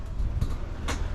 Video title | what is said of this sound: The Hidden jewel Join the Journey into the world of ATC ALL Aluminum Rv's !#newbadass#nowood#frvta | it sounds solid when you close it too